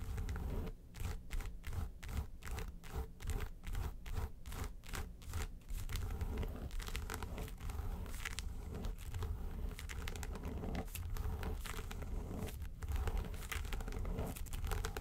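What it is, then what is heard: Faux leather makeup case scratched with fingernails. Long nails scratch the lid of a small, hollow, yellow textured faux-leather makeup suitcase. For the first six seconds the sound comes as quick rhythmic strokes, then it turns into dense, continuous scratching. The sound is mostly a low, dull rumble with little brightness.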